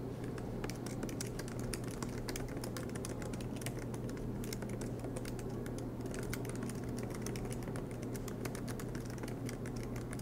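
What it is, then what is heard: Laptop keyboard typing. Fingertips of both hands type continuously on the black plastic low-profile keys of a MacBook Pro laptop with a silver aluminum body, resting on a green desk mat. Rapid, light key taps click steadily throughout over a constant low hum.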